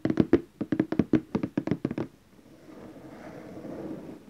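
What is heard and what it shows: Fingertips tap the lid of a large glossy orange cardboard gift box, moving between the lower edge and the centre. Thirteen quick, hollow, mid-pitched taps with a dull low thump fall in an uneven rhythm over about two seconds, each dying away almost at once. A faint, soft, steady hiss then rises gently for the rest of the clip.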